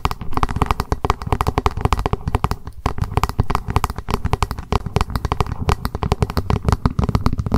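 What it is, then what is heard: Plastic lunch box. Long acrylic nails tap and scratch fast on a small hollow plastic lunch box, held upright, with a white printed lid showing cats and "Lunch time". The dense run of quick, dry clicks sits mostly low with a hollow thud, each tap dying out almost at once.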